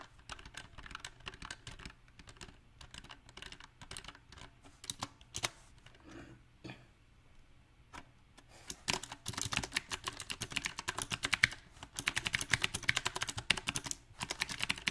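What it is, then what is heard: Mechanical keyboard typing. Fingertips tap the keys of a compact backlit mechanical keyboard with round plastic typewriter-style keycaps. Bright, short clicks come in uneven bursts with a brief lull near the middle. The typing then grows faster and louder toward the end.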